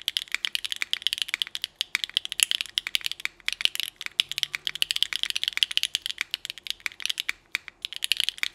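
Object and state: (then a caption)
Mechanical keyboard with ABS keycaps. A Nuxros NR6 x VNMK 60% mechanical keyboard with Hyacinth v2u switches, GMK Rainbow ABS keycaps and an aluminum plate is typed on with the fingertips of both hands. A steady run of sharp, short clacks and taps is heard, bright and crisp with almost no low end and no ring, centered around 2.7 kHz.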